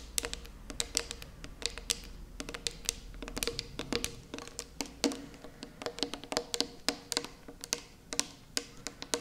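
Long purple nails tap the lid and side wall of a small, round, closed metal tin of putty held in both hands. A quick, irregular run of crisp, bright clicks follows, each dying away almost instantly. Faint tonal ringing sits underneath around 280 and 480 Hz.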